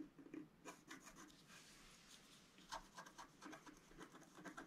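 A wooden stylus scratches and rubs the black coating of a flat scratch-art card, about A4 size, lying on a table. The result is a soft, uneven run of dry, rasping scrapes with short brighter strokes standing out.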